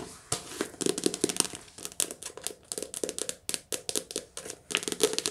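Long nails tap rapidly on the glossy cover and edge of a handheld softcover paperback book. The taps are quick, crisp, bright clicks with almost no ring, and they blur into a light, papery crinkling patter.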